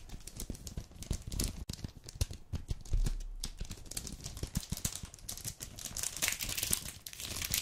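A full red dark chocolate bar in a plastic-paper wrapper lying on a wooden table is rubbed and crinkled with fingertips and nails. Dense, bright crinkling and crackling runs throughout, with short sharp snaps and a low rumble beneath.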